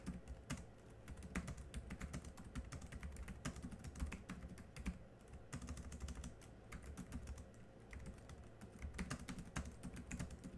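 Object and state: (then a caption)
Plastic laptop keyboard. Continuous two-handed fingertip typing on the black plastic chiclet keys of a small plastic laptop keyboard. Rapid, short clicky taps, some sharper and brighter, run steadily over a low, constant rumble. Each tap dies away almost instantly.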